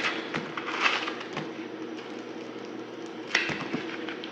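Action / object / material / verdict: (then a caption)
scrape / soap block carved with a knife / soap / none. A small, solid block of dried soap with a pink glitter crust and white inside is held in the hand and carved and scraped with a yellow-handled utility knife, dropping crumbs onto a flaky pile. The scraping is a steady, dry, bright crackle, with sharper crisp snaps standing out near the start and again toward the end.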